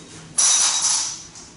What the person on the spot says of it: Sounds like metal.